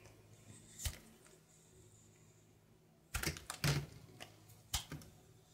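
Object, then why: Bar of soap. A brown solid soap bar held in the hand is carved with a knife in scraping strokes. A single sharp scrape comes first, followed by a quiet stretch with a faint high hiss. Then a cluster of short, crisp, bright scraping cuts arrives, each dying away quickly.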